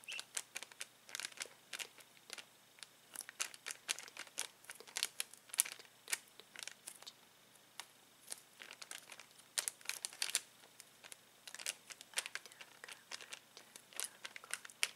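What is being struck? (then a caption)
Plastic bag of latex balloons. Fingertips rub, press and crinkle a clear plastic bag full of uninflated latex balloons with a cardboard header, and tap on the card. The result is a quiet, steady stream of bright, crisp crinkles and short, dry ticks with almost no low end. The sounds come in irregular clusters and each one stops almost instantly.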